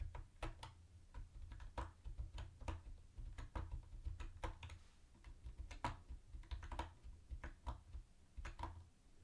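Fingertips type on a mint-green plastic typewriter-style keyboard with round white plastic keycaps and a hollow body. It makes a quick, uneven run of short, sharp clicks that ring bright and hollow around 1 kHz and die away almost at once. A steady low hum sits underneath throughout.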